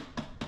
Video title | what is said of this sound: Cont alignment skills Part 2 | So this is tight. Up in here is very tight. You can hear it.